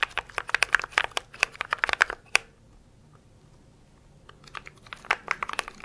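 Fingertips and nails type and tap rapidly on a compact mechanical keyboard with grey and white plastic keycaps in a grey case, held up near the mic. Sharp, bright plastic clacks come in dense bursts, then pause into near silence for about two seconds. The clacking then resumes for the final stretch.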